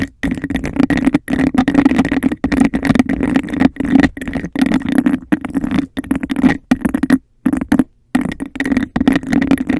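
Long decorated acrylic nails rapidly tap and scratch a clear, empty, hollow glass cup with a raised bubble texture, held upside down over the microphone. The result is a dense, fast stream of clicks and rasping scrapes with a hollow, boomy resonance from the cup and a bright ringing edge, broken by a few brief pauses.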